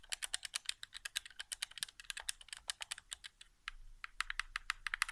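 Fingertips tap very fast on the face buttons of a hollow, white plastic PS4 game controller resting on carpet. The result is a rapid, dry stream of dozens of sharp, bright plastic clicks with almost no low end and no ring, centered around 2 kHz. The clicks grow denser and sit over a slightly louder background in the last second and a half.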